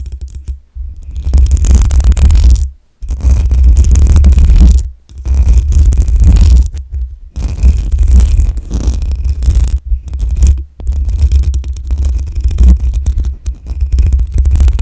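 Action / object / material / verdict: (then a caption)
scrape / metal mesh microphone grille / metal mesh / none. Long acrylic nails scratch quickly over the hollow metal mesh grille of a black USB microphone, producing a dense, rough, boomy rumble concentrated in the deep low end around 78 Hz with faint scraping texture above. The scratching comes in sustained bursts separated by short silent pauses.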